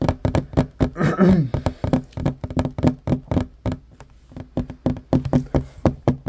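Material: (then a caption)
Wood. Fingertips and short nails tap fast on a flat, solid wooden table top. The result is a quick, uneven run of short, dull knocks with a low, woody body and almost no ring, with a few brief pauses between bursts.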